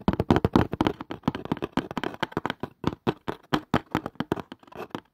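Fingers tap fast on a cardboard casing, making a rapid, irregular run of dull, hollow knocks. Each tap is short and dry, with little ring and a soft low-mid body.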